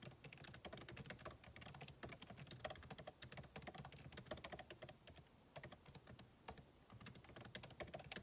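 Fingertips type continuously on the backlit keyboard of a MacBook Pro, plastic keycaps set in an aluminum body. The result is a dense, steady stream of short, dry key taps with bright clicky edges over a soft low thump, each tap fading almost instantly.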